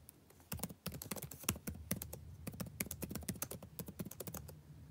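Fingertips type continuously on a backlit laptop keyboard with plastic keys. A steady, rapid run of light, dry taps follows, each a short bright click over a soft low thump that stops almost instantly.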